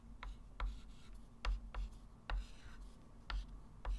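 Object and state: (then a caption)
Chalk writing on a chalkboard. A hand writes math digits with a white chalk stick on a small, flat, framed blackboard lying on a table. The chalk tip makes seven short, irregularly spaced taps and scratches, each bright and quick to fade. A faint, steady low hum runs underneath.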